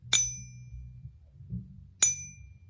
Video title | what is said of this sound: Ping Test Tips - Silver Bars and American Silver Eagles | as soon as i heard the ping i knew right away that that sounded real